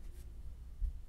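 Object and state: Nothing is struck.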